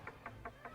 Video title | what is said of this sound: 누가 방주를 지을 것인가? [창세기 6:1-7:5]ㅣ박근주 목사 (21.10.31.) | 두드리니 나무 소리가 났습니다. 나무입니다.